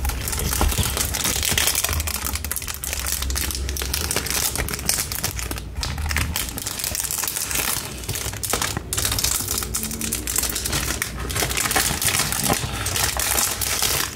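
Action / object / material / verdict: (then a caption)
scrape / plastic cellophane wrap on a cardboard box / plastic film / none. Fingertips and nails peel, pull and crinkle clear plastic cellophane film away from a small cream cardboard box. A dense, continuous run of bright, sharp crackles and crinkles plays over a steady low rumble, with short soft tears as the film comes free.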